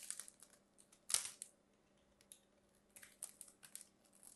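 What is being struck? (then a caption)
Bar of soap. A thin metal craft blade carves a hand-sized, solid orange-and-white striped bar of soap held in the hands, scraping off crumbly flakes that pile on the bar. Soft, crisp, bright scrapes and crinkly crumbling come in short bursts, with one louder scrape near the start and quiet gaps between the strokes.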